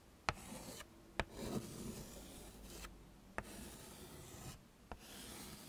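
A yellow chalk stick scrapes across a small, flat black chalkboard in a wooden frame, tracing letters. Soft, dry, raspy strokes come and go, broken by four sharp, bright taps where the chalk strikes the board. The sound is quiet and close throughout.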